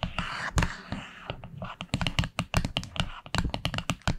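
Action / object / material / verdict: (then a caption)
tap / small wooden box lid tapped with long fingernails / wood / none. Long acrylic nails tap quickly on the dark wood lid of a small flat wooden box. It is a rapid, uneven run of short, dry taps, each a low hollow thud with a bright clicky edge that dies away almost at once. A soft hiss sits under the first second.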